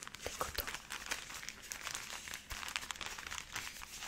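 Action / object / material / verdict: scrape / cotton pads in thin plastic wrap / plastic film / none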